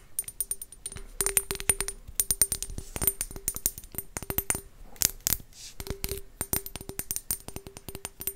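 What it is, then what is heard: Glass bottles being tapped. Glass potion bottles are tapped continuously in a quick, irregular series of short, sharp taps. Each tap is a bright, high click with a faint glassy ring and a soft tone near 400 Hz, and it dies away almost instantly.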